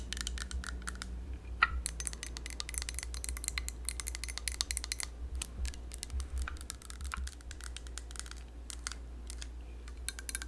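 Long yellow nails tap rapidly on a hollow, yellow plastic hand-held lemon squeezer with a perforated cup. The result is a dense stream of quick, dry, bright clicks with almost no ring, over a low steady hum.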